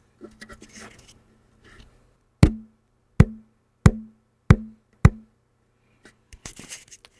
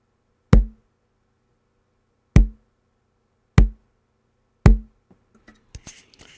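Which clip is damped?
The first.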